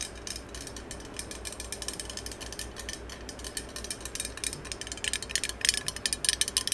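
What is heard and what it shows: Long acrylic nails tap and scratch the cylindrical surface of a green metal aerosol spray can held close to the mic. The result is a fast, irregular stream of bright, clicky ticks and scratches over a faint low hum. The taps grow louder and sharper in the last couple of seconds.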